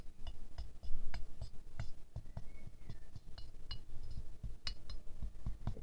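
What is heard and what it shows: A wooden stick held in the hand taps the petals and centre of a small, solid, silver-glazed ceramic rose ornament resting on a fur rug. Light, bright clinks with very short ring come at an uneven pace, some quick and some spaced out, over a low, steady rumble.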